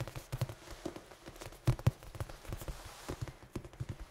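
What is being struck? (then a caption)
Large foam dice. A large, head-sized red foam die with black pips is held in both hands and tapped and scratched with the fingertips and nails. The result is a quiet, irregular run of soft, dull, low thumps with short, dry decays and faint scratchy rustling, with two slightly louder taps near the middle.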